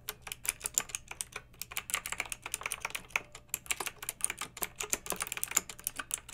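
Long red-nailed fingertips type steadily on a pink mechanical keyboard with round retro plastic keycaps and blue backlighting, recorded up close. The result is a continuous stream of crisp, bright plastic clacks with very short decay, with almost no low end beneath them.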